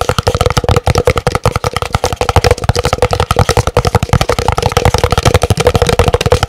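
Fingernails rapidly tap a large, empty, hollow white printed paper cup held in both hands, producing about thirty quick, closely spaced taps over six and a half seconds. Each tap is a short, dry knock with a booming low thump and a hollow mid-pitched ring around 490 Hz that dies away almost instantly.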